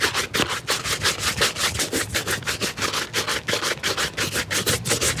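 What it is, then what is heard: Leather shoe being brushed. A hollow, empty black leather shoe held by hand is brushed back and forth with a wooden-backed bristle shoe brush. Each stroke gives a bright, hissing rub, repeating at a steady quick pace of nearly three strokes per second with short gaps between them.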